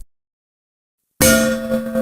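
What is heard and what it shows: An empty metal kitchen vessel is knocked once with a spoon and rings with a bright clang. The tone is steady and centered around 523 Hz, with no visible vibration.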